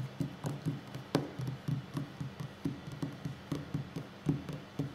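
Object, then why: Wooden tabletop. Fingertips and short nails of both hands tap quickly on a solid wooden tabletop. The result is a rapid, uneven run of soft, dull knocks with a low, woody body around the low hundreds of hertz, a faint bright click on each touch, and each tap dying away almost at once.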